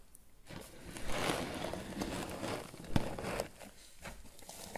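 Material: Twine.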